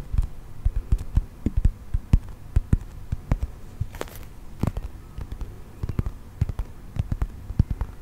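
Fingernails tap and scratch a brown textured plastic toy mammoth held close to the mic. The result is a steady run of short, dull, low thuds, with soft scratchy rustling between the taps.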